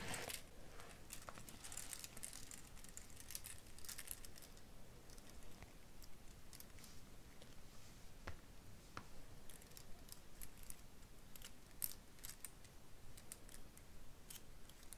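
A fan of thin plastic false-nail swatch sticks on a metal ring is fanned, flipped and riffled by both hands with long nails. The sticks give off a continuous stream of light, dry, bright clicks and clatters against each other over a low, soft background rumble.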